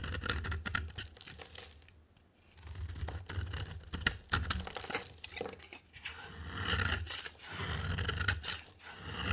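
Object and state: Dry bar soap being scraped.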